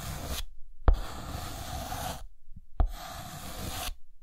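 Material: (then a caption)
Chalk. A thick white chalk stick draws lines across a green chalkboard, shedding chalk dust. Two strokes each begin with a sharp tap of the chalk against the board, followed by a long, dry, scratchy rasp with a low rumble and bright grit. Brief silences separate the strokes.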